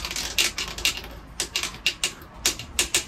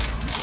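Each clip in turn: First: hollow (delaminated) wall tile. Second: bonded exterior wall tile (not lifted).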